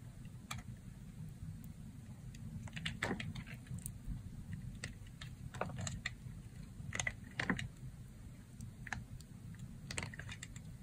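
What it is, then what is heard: Dry soap bar being carved. A red box-cutter blade shaves and carves thin curls off a thin, solid, dry beige soap slab with dark specks, held in fingers with long red nails. Crisp, dry scraping and cutting clicks flick up bright and die away almost at once, scattered irregularly over a steady low hum.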